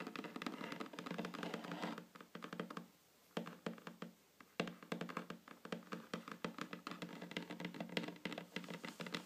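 Long fingernails of both hands tap rapidly on a flat, solid wooden tabletop, producing dense, quick clicks and light knocks with almost no ring. A brief pause comes around the third second before the steady tapping resumes.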